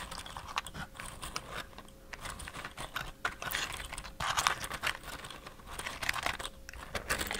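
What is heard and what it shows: A small hollow cardboard matchbox, held close to the mic with its drawer partly open and wooden matches inside, is tapped and slid by fingertips. Quick, dry, papery taps and scrapes with a bright rustly texture come in dense clusters, and a faint steady tone hums underneath.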